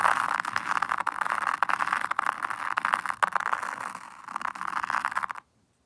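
A small wooden toothed rake is dragged in circles through fine white sand in a black hexagonal zen garden tray. It makes a steady, gritty scraping hiss centered in the midrange that swells and eases with each stroke, then stops abruptly into silence just before the end.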